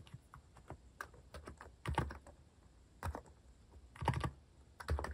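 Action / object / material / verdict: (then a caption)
tap / plastic mechanical keyboard / plastic / none. Fingertips type quickly and continuously on a compact, white-cased mechanical keyboard with plastic cat-themed keycaps. Short, dull clacks with a low thocky body come in an uneven stream, and louder bursts of keystrokes land around 2, 3, 4 and 5 seconds.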